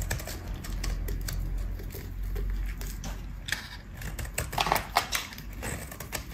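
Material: Soap.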